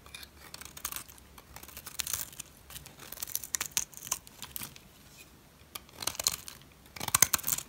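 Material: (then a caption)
Soap. A metal utility blade scrapes the edge of a solid turquoise dry soap bar, cutting off shavings. The result is a string of short, dry, crackly scraping bursts, bright and hissy with almost no low end, separated by brief quiet pauses.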